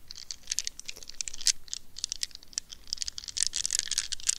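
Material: Rubber.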